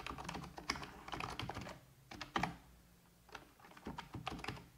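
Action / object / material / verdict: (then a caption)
tap / plastic computer keyboard / plastic / none. Fingertips with long red-painted nails tap rapidly on a full-size black plastic computer keyboard resting on a wooden desk. Quick bursts of short, bright plastic clicks and clacks are broken by brief pauses, with a soft low thump under some keystrokes. Each tap stops almost at once, leaving a crisp, close typing rhythm.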